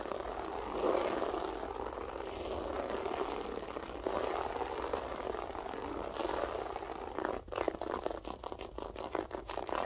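Long acrylic French-tip nails scratch and claw at a flat beige loop-pile floor carpet with a textured pile. A steady, dense rasping scrape with a midrange hiss runs for about seven seconds, then breaks into quicker, separate raking strokes until the end.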